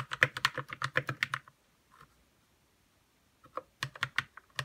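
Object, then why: Plastic mechanical keyboard keys. Fingertips type on a white 60% RK61 mechanical keyboard with plastic keycaps and lubed red switches. A quick run of short, muted clacks with a low thock beneath fades after about a second and a half, followed by a near-silent pause with a couple of faint taps. A second burst of keystrokes closes the clip.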